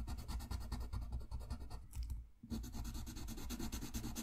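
A green-barrelled wooden colored pencil is rubbed and scratched back and forth across a thin sheet of drawing paper lying flat on a white desk, coloring in a page. Rapid, rhythmic scratchy strokes give a dense, bright rasp over a low rumble. The strokes briefly pause near the middle and then resume.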